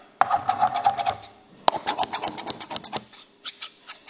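Large, dark, solid steel scissors, held close by fingers, are snipped and rubbed blade against blade with no paper. The result is a rapid series of dry, rasping metallic scrapes and crisp, bright clicks with a faint ringing tone near 875 Hz. Two sharp snaps open the first and second bursts, and the clip ends with a few isolated clicks.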